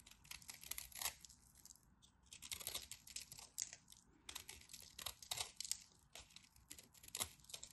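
A black craft knife shaves crunchy flakes off the edge of a solid, dry, white textured soap bar held in hand. Bright, crisp scraping crunches come in quick clustered bursts with short pauses between them. The sound is dry with almost no low end and no ring after each cut.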